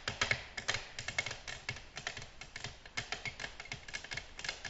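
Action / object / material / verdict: tap / glass tabletop / glass / none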